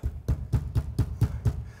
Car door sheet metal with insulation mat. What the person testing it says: tout est complètement silencieux. Donc ça semble vraiment calme maintenant, il n'y a rien de cliquetant ou de grondement